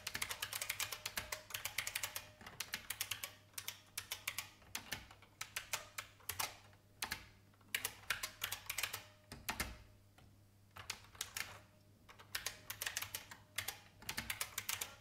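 Fingertips with long painted nails type on an old, beige, full-size IBM plastic mechanical keyboard with a hollow case. Quick bursts of bright, clacky key taps come in uneven runs, with short dry decays and a brief lull near the middle. A faint steady low hum sits underneath.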